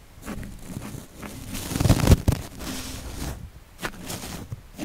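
A small flat paintbrush with yellow synthetic bristles brushes across the hollow, dome-shaped woven metal mesh grille of a Blue Yeti microphone. It makes a close, low, rumbling scratchy rustle that builds to a louder, crackly peak midway, then settles into softer, bumpy strokes with faint bright scrapes.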